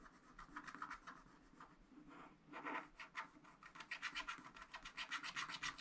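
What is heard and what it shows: A wooden stylus rubs and scratches the black wax coating of a scratch art sheet in a flat spiral pad, filling in a pink building. Rapid, uneven scratchy strokes come about four per second, bright and papery with a dry rasp and almost no low end. They grow louder and denser toward the end.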